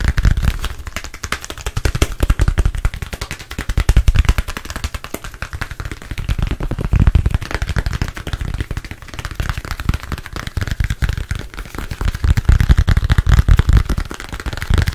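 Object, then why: Smartphone. A thin, solid black smartphone held in front of the face is tapped and scratched rapidly with fingertips and nails. The result is a dense, continuous stream of short, dull, low-heavy clicks and taps with almost no ring, swelling into louder clusters every few seconds.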